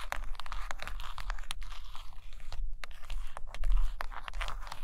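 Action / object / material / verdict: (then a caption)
tap / hardcover paper books / paper, cardboard / none. Long patterned fingernails tap and scratch along the top cover edges and spines of a stack of Russian hardcover books made of solid paper and cardboard. A quick, dense run of crisp, dry clicks and scratchy crackles fills the clip over a steady low rumble, with each tap dying away almost instantly.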